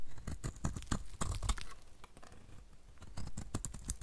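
A utility knife blade scrapes powdery shavings off the edge of a solid white rectangular bar of dry soap held in the hand. It makes a rapid series of short, dry crunching scrapes, each with a bright edge and almost no ring. The scrapes start louder, soften through the middle, then pick up again toward the end.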